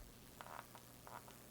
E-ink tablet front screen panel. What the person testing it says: there is a hollow spot here